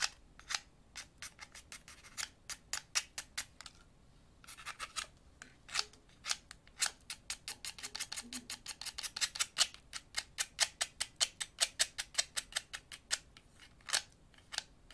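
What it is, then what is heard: Wooden pencil being carved. A thin, solid wooden pencil held in the left hand is carved with a utility knife blade held in the right hand, producing about 55 rapid, crisp scraping cuts across the clip. Each cut is a short, bright, dry scrape that stops almost instantly, with a brief pause near the four-second mark before the cuts continue more densely.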